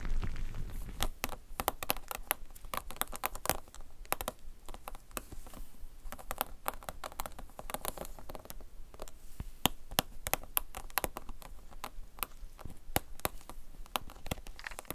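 Long gold chrome nails scratch and tap the grid-textured surface of a flat red heart-shaped silicone mat lying on a glittery surface. The result is a steady stream of quick, dry, bright clicks and scratchy patter that stop almost instantly, over a soft low rumble that is strongest in the first second.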